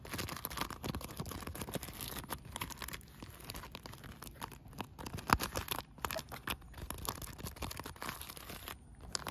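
Long nails scratch and tap a blue polyethylene bubble solar pool cover, a thin sheet of sealed air bubbles. A steady run of dense, crinkly scratches and quick dry taps continues throughout, with one sharper, louder tap standing out near the middle.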